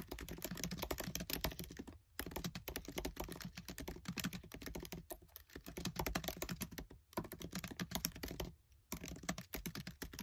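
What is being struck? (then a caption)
Laptop keyboard with plastic keys. Fingertips with short nails type fast on the black plastic keys of a MacBook Air keyboard set in an aluminium body. A dense, rapid stream of short, dry clicks and taps runs throughout, broken by a few brief pauses near 2, 5, 7 and 8.5 seconds.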